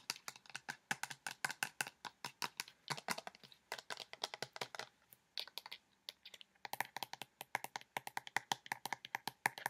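Fingernails tap fast on the white cap and body of a pink plastic lotion bottle partly filled with liquid. The result is rapid bursts of short, dry, bright clicks with almost no low end, broken by brief pauses near the middle before the tapping picks up again.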